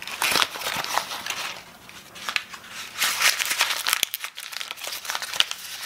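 Hands unwrap a small wad of brown kraft packing paper, possibly with a small item wrapped inside, as fingers pull it open. Dense, bright crinkling and crumpling crackles come in bursts with short sharp snaps and brief quieter pauses.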